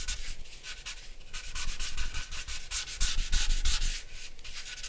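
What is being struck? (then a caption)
Charcoal pencil scratching on a paper drawing sheet. A dark charcoal pencil scratches and rubs across a large white drawing paper sheet on a black board, lying flat on a wooden desk, shading the lower face and chin of a portrait. Quick, unevenly rhythmic strokes make a bright, dry scratching hiss over a faint low rumble, swelling louder and denser toward the middle before easing off.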